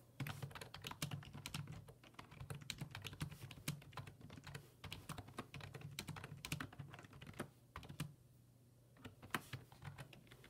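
Fingertips type on the hollow plastic keys of a black plastic full-size computer keyboard resting on a wooden desk. Rapid, dry clicking taps follow one another with a short pause near the end, over a steady low hum. Each keystroke is crisp and bright and dies away almost instantly.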